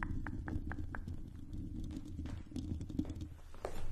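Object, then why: Metal mesh microphone grille. Long pink acrylic nails on both hands scratch and tap the hollow silver metal mesh grille of a condenser microphone. The sound is a dense, low, rumbling scratch with a steady hum, punctuated by short, bright taps that come quickly in a row at the start and return sporadically. It ends in a louder scraping burst.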